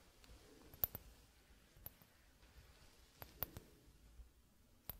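A gloved fingertip taps the upper bulb of a clear, hollow, hand-sized glass hourglass held upright in one hand, with little sand inside. Eight sharp, very short clicks with bright high-frequency glints come in uneven clusters over a quiet, low hiss.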